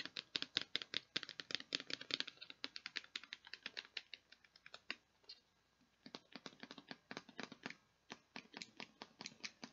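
Long painted nails tap and scratch a hollow, clear plastic tub with a lid and a blue handle, partly full of perler beads. About fifty quick, bright, dry clicks sound with almost no low end, in rapid bursts that pause briefly around six seconds before resuming.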